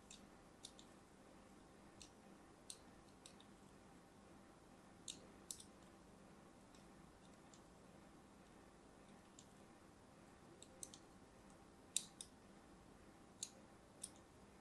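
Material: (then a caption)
Soap. A thin metal blade scratches diagonal lines into the surface of a pink and white striped solid soap bar held in hand. Short, sharp, bright scraping clicks come at irregular intervals over a quiet, steady low hiss, each one dying away almost instantly.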